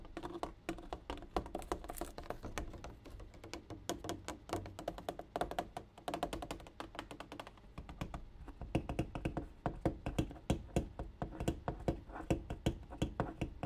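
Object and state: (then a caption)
Water jug. A water jug is tapped in quick, steady bursts of short, dull taps. The knocks sound low and thunky with very little ring, the rhythm shifting between flurries and brief pauses.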